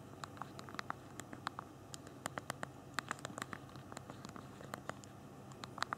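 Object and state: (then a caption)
Phone plastic keyboard being typed on. Thumbs type on the physical keyboard of a handheld BlackBerry phone, tapping its small plastic keys. A quick, irregular run of short, dry clicks with a bright tick around 1.2 kHz sits over a low, steady background hiss, with a few louder taps standing out.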